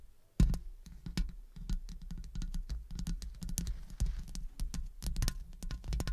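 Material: Metal.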